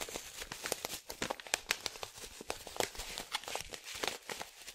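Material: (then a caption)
Foil laminate. A resealable plastic/foil-laminate coffee pouch with green, yellow and blue print, about 25 cm tall and filled with coffee, is held in both hands and shaken. It gives a dense, bright crinkling and rustling full of sharp crackles. Each crackle cuts off almost instantly, with very little low end.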